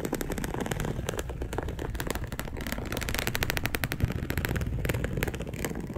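Long acrylic nails scratch across a dark polyester mesh fabric bed sheet, making a dense, continuous run of rapid rough scrapes and crackles. A low rumble underlies the bright, rattling strokes, which speed up and grow slightly louder in the second half.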